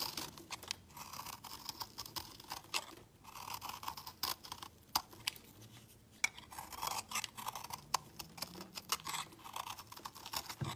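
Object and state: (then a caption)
Soap bar being shaved with a blade. A metal utility-knife blade shaves crumbly flakes from the edge of a palm-sized, solid, round yellow soap bar held in the hand. It makes a rapid series of dry, crisp scraping and crunching strokes, bright and hissy with little low end, broken by brief quiet pauses. Sharp little snaps stand out between the steady shaving rasps.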